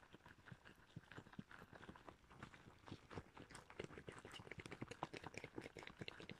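Shiny red rubber gloves worn on the hands are rubbed and pinched together close up, with the gloved fingers producing a dense run of short rubbery squeaks and sticky snaps. The quick, overlapping squeaks have a nasal tone around 1 kHz with bright edges, each cutting off almost instantly. The sounds grow sharper and louder toward the end.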